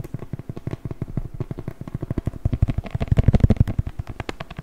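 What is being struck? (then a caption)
Beeswax-coated cotton wrap. A stiff, crinkly patterned beeswax-coated cotton wrap is handled and crumpled with the fingers. It makes a dense stream of quick, dry crackles and crinkles with a soft, low-heavy body. The crackles grow louder and busier around the three-second mark, then ease off.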